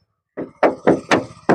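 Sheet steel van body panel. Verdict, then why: Original. Five knuckle taps on the sheet-steel body panel of a 2010 Toyota Hiace GL van give short, hollow knocks with a mid-pitched tone and a quick decay. The uniform tinny sound marks the body as original metal with no repair or filler.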